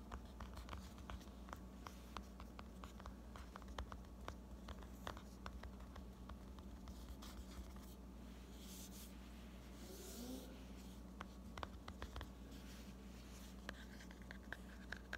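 Fingertips and medium painted nails tap on and squeeze the glossy red laminated cardboard cover of a small, closed hardcover book, "Cat Confessions," held in both hands. Quiet, rapid, dry clicks and soft scratchy taps repeat throughout over a steady low hum, each dying away almost instantly.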